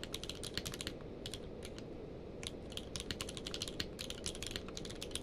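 Both hands type rapidly with their fingertips on a full-size mechanical keyboard with a blue-grey case and white and grey plastic keycaps, lying on a blanket. Quick bursts of bright, crisp plastic clacks come in runs, with a brief pause in the middle. A steady low noise sits underneath throughout.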